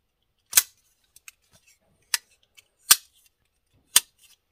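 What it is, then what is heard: Steel folding knife clicking open and shut. A pocket-sized Kizer Sheepdog steel folding knife, with a dark steel blade and dark handle, is held in one hand over a bamboo board while fingers flip the blade open and closed. Four sharp, bright clicks from the metal pivot and lock stand out, with fainter ticks between them. Each click dies away almost instantly.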